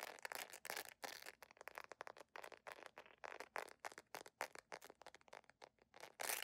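Long nails scratch quickly across the embossed patterned sole and straps of a beige jelly sandal made of solid plastic. The result is a rapid run of short, dry, crackly scrapes with a bright hiss and almost no low end. Each burst stops abruptly with no ring between strokes.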